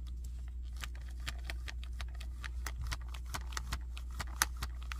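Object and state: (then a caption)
Plastic action figure. Fingers tap and scratch the chest of a hand-sized, hard red-and-black plastic robot or monster action figure with tubes, and move its limbs. The result is a quick run of sharp, bright, dry clicks and scrapes over a steady low hum.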